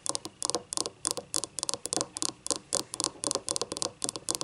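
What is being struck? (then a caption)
Ceramic cup. Long painted nails scratch the paper label and the unglazed rim on the base of a small, hollow, empty yellow ribbed ceramic cup lying on its side. Quick, dry, bright scratching strokes come in short clustered bursts with almost no low end and no ring after each stroke.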